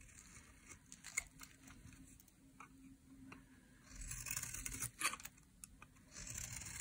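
A metal utility blade carves curls off the edge of a solid pink dry soap bar. Quiet, dry scraping is broken by crisp, bright clicks and ticks, then swells into a louder, hissing shave about halfway through. Another sharp snap follows before the carving settles into a steady bright rasp.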